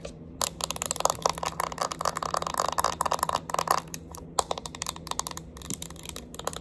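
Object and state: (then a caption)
Plastic makeup compact. Long acrylic nails tap and scratch the lid, rim and bottom of a small round Clinique powder compact with a clear plastic lid and base, holding pressed powder. Rapid, sharp plastic clicks come in dense bursts, with a brighter scratching rasp in the middle stretch. A faint low hum sits steadily underneath.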